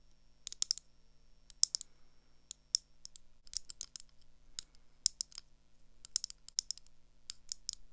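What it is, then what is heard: Metal-framed glasses. Long acrylic nails tap the lenses and frame of thin gold metal round eyeglasses held in hand. Sharp, high, clicky taps come in quick irregular bursts over a faint low hum, each dying away almost instantly.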